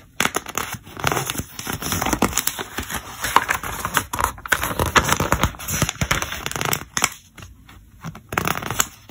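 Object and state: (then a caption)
Glossy paper catalog pages being riffled. A thumb riffles and flips a stack of pages at the edge of an open, thick glossy paper trade catalog. Dense, crisp flutters and papery crackles run in quick bursts, with a brief quieter pause before the riffling resumes near the end.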